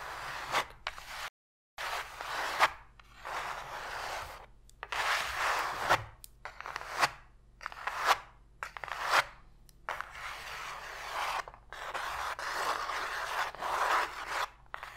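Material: Cardboard.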